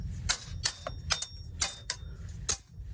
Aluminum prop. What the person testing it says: it all looks solid and metal and it sounds solid metal which is great